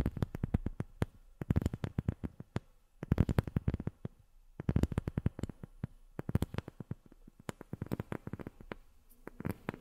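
A rubber sheet is tapped with long fingernails in rapid bursts separated by brief pauses. Each tap is a short, dry tick with a soft low thump underneath and almost no ring.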